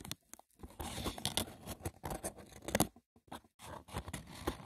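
Fingertips and short nails rapidly tap and scratch the woven top of a hollow, braided seagrass wicker box. Dry, crackly scraping and papery rustling with a bright edge mix with quick, short taps. The bursts are broken by brief near-silent pauses and die away almost instantly.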